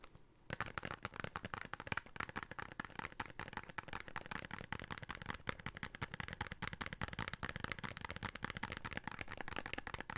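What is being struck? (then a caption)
Paper soap carton. A small red printed "Beauty Soap" paper carton for bar soap is held in both hands and tapped and scratched with fingertips and short nails. Brief hushed noise opens the clip, then rapid, dense tapping runs steadily to the end as crisp, dry clicks with a light papery rustle.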